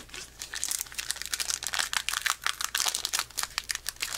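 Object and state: Foil card booster pack being crinkled and torn.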